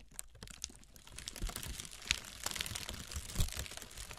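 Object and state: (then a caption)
Honeycomb kraft paper packing wrap. Long red nails tap and scratch along the cells of a brown honeycomb kraft paper packing wrap roll. The result is a dense run of quick, dry crinkling taps and scratchy rustles with a bright papery hiss, over soft low thumps. A few louder taps stand out.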